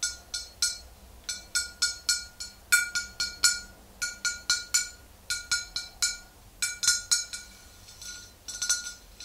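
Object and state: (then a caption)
Glass bottle. Long green acrylic nails tap the neck and shoulder of a large green-tinted glass bottle full of pale liquid. About 29 quick, unevenly spaced taps make bright, glassy clinks, each with a short ringing tone around 1.4 kHz and high overtones that fade almost at once.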